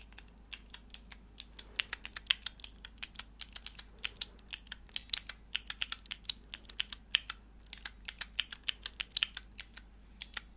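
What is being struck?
Plastic mechanical keyboard switch tester.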